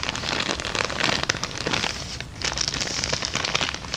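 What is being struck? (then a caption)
Empty kraft paper bag. A small, empty kraft paper bag held upright is tapped, rubbed and crinkled with long dark nails. It makes a dense, bright, dry crackling of quick crinkles and taps with little low end, easing briefly just past the midpoint before picking back up.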